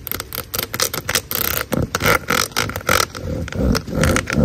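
Long nails scratch and flick across the ridges of a large, black, hollow corrugated plastic drain hose. About nineteen quick, irregular bursts of bright, rasping scrapes and ticks come in rapid succession, with faint rain possibly audible in the background.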